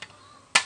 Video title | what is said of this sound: Cara Sortir Plastik Kerasan | seperti kaca mudah pecah ya dan suaranya nyaring